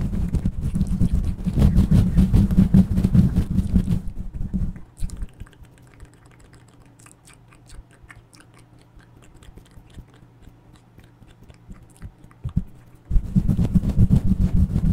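Fingertips and nails quickly scratch and rub a fluffy grey-and-black synthetic fur windscreen fitted over a black handheld microphone. The result is a loud, dense, low rumbling rustle for about four seconds, then a quiet stretch with only faint soft ticks and brushes, before the heavy scratching resumes near the end.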